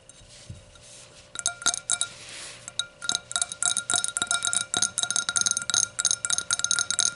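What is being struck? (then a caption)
Glass hurricane vase. Tapping on a hurricane glass gives a run of quick, bright chinks and clinks, starting sparse and then coming in rapid, irregular clusters. Each tap is short with a brief glassy ring, and there is a faint steady hum underneath.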